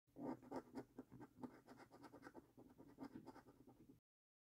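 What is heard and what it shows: A coin scrapes a thin, flat paper lottery scratch card with a latex coating in repeated short strokes. It makes a steady run of quiet, raspy scratches for about four seconds, then stops abruptly into silence.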